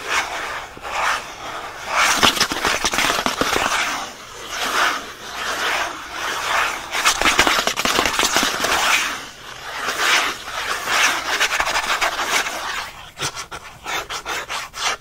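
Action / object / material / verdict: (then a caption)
scrape / thin printed paperboard package backing / paperboard / none. The thin printed paperboard backing of a pen package is held in one hand while fingernails scratch and rub it quickly. Dry, bright scratching rises and falls in repeated swells, with short crisp rasps toward the end.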